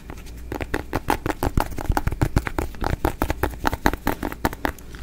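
A small, solid, hand-sized ribbed yellow squash or gourd is held in the hands and tapped and scratched with fingertips and nails close to the microphone. A rapid, uneven run of short, dull, low knocks sounds, each dying away almost at once, with soft scratching between them.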